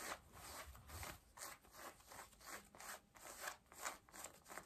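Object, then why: Denim jeans. Long nails scratch the back and front waistband of pale yellow denim jeans, making about nine quiet, raspy strokes at an uneven rhythm. Each stroke is a dry, bright fabric rasp with little low end, fading quickly between strokes.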